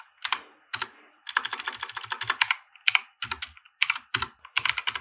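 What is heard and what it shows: Fingertips of both hands type on a compact 60% mechanical keyboard with white plastic keycaps and RGB lighting, resting on a felt desk mat. Bright, crisp plastic clacks come in quick bursts and short runs separated by brief pauses. Each keystroke is dry and dies away almost instantly, with very little low end.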